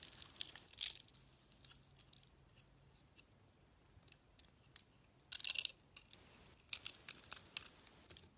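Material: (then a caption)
Soap. A box cutter blade peels and scrapes a solid, hand-sized soap bar with a pink glitter coating and a cream inside. Short, crisp, bright scrapes and crackles sound in quick succession, with denser bursts of shaving about two-thirds of the way through. There is almost no low end.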